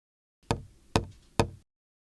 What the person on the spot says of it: these responses do not have a single dominant mode like the wine glass, making the liquid level inference a challenging task